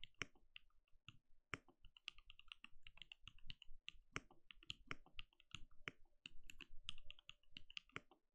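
A compact RGB-lit mechanical keyboard with a translucent plastic case and plastic keycaps, sitting on a desk, is typed on steadily with the bare fingertips of both hands. Quick, bright plastic clacks with a soft low thud underneath come in a dense, uneven stream, each keystroke stopping dead with no ring.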